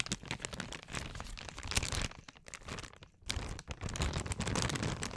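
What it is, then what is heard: Crinkled plastic bag. A large, partly full, printed plastic Equate cough drop bag is held in both hands and crinkled and scratched with long acrylic nails. Dense, bright crinkling and crackling runs throughout, dipping quieter for about a second near the middle before returning louder to the end.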